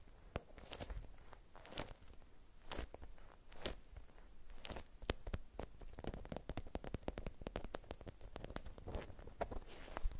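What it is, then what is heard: Beeswax fabric wrap. A watermelon-print beeswax-coated cotton wrap folded around an object is scratched with long nails and squeezed and crinkled by hand. A steady run of sharp, dry crackles and scratchy clicks plays over a soft low rumble, with bursts of denser crinkling throughout.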